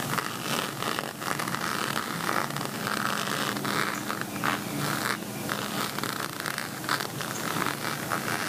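Fingernails scratch and rake across the textured bead surface of a plastic beaded cosmetic pouch shaped like a pixel envelope. The result is a steady, dense scratchy rattle centered in the mid-range around 1.25 kHz with bright crackling, rising into a few slightly louder rakes along the way.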